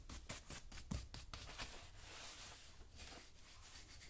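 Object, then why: Leather work boot brushed with a small bristle brush. A black leather work boot, worn on a foot and held by one hand, has its toe and upper brushed rapidly with a small wooden-handled dauber brush. Quick, uneven bristle strokes rub across the leather in a dry, bright scratching, opening with a burst of sharper swipes and settling into a steadier, softer hiss.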